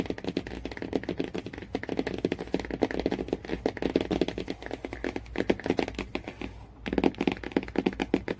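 Fingertips and nails tap quickly on the matte cardboard cover of a hardcover Jungle Book storybook lying flat. The taps are dull, short and closely spaced, with almost no ring. A brief pause comes near the end before the tapping resumes.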